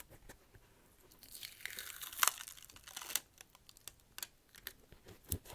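A fingernail scratches along the tread grooves of the rubber sole of a black slipper shoe with a red plaid side, held sole-first close up. Dry, bright scratching and crinkly rasps swell to a louder burst in the middle, then break into short, sharp ticks and scrapes that stop instantly with no ring.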